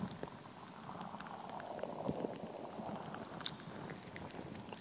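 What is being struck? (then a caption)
Soft rubber ball filled with gel beads. A fist-sized, translucent, soft rubber stress ball filled with colored gel water beads is held in both hands and squeezed, tapped and scratched with long acrylic nails. The result is a quiet, continuous wet squishing and crackling texture, with brief bright clicks and taps scattered throughout.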